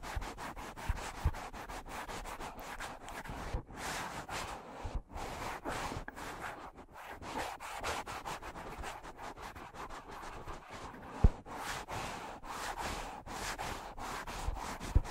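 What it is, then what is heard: Foam microphone windscreen being scratched. Fingertips and short nails rub and scratch the surface of two matching black foam windscreens on stand-mounted microphones, one at each side of the face with the mouth held away. A steady, soft, crackly rustling and scratching runs throughout, full in the low end, with a few sharper bumps standing out, the loudest near eleven seconds.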